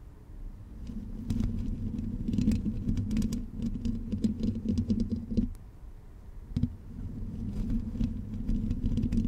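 Long pink nails on both hands scratch and tap the hollow black metal mesh grille of a blue condenser microphone. The result is a dense, scratchy patter with sharp, bright clicks over a steady low buzz near 240 Hz. The sound quiets briefly in the middle, then resumes.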